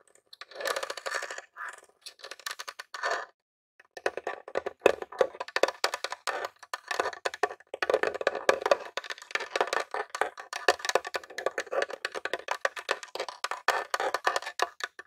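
Fingertips and nails tap rapidly across the top of a grey plastic Nintendo mini console, a hollow box, making dense, dry clicking with a hollow midrange body and a bright edge. A short burst of taps gives way to a brief silence, then steady, busy tapping continues to the end, each tap dying away almost instantly.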